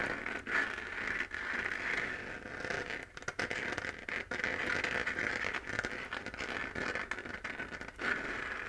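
Long fingernails scratch the textured surface of a hollow, lit, 3D-printed plastic moon lamp sphere. The result is a steady, dry, crackly scraping concentrated in the upper mids with bright hiss, little low end, and brief pauses between strokes.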